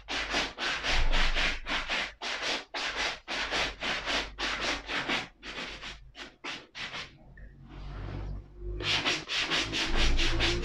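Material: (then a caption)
Suede leather. A black suede ankle boot is brushed with a wooden-backed bristle brush, the strokes running along the upper toward the sole edge. Quick, rhythmic swishing strokes give a bright, dry rasp with a low rumble underneath. After a short pause filled with a faint hiss, the brushing resumes.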